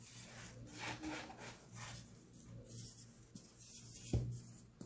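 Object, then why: Cement powder handled by hand. Bare hands with short painted nails scoop, rub and crumble a large heap of dry, fine white cement powder in a blue plastic basin, sifting it back onto the pile around a small pressed cement chunk partly buried in it. Soft, grainy rubbing swishes rise and fall over a steady low hum, broken by two brief taps near the end.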